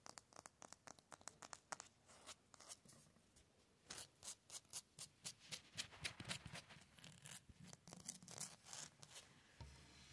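Fingernails scratch fast and hard along the rough, porous grey surface of an outdoor concrete cinder block wall and over its mortar joints. Dozens of short, dry, bright scraping strokes come in an uneven rhythm, quieter at first, then louder and denser from about four seconds on. Each stroke cuts off almost at once with no ring.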